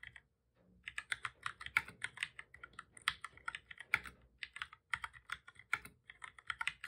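Both hands type steadily with their fingertips on a full-size black plastic computer keyboard with a hollow body, resting on a desk. After a brief pause at the start, a rapid run of about thirty-two short, dry key taps clicks out, each bright and snappy and centered around 2 kHz, with almost no low end or ring.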